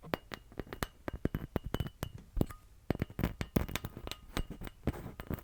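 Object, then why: Painted glitter Christmas ornament. A painted, glittery Christmas ornament that is shedding glitter is tapped repeatedly, giving a rapid run of short, clinky taps that die away almost instantly. The taps come in quick irregular bursts, some louder than others, with a faint steady high tone beneath them.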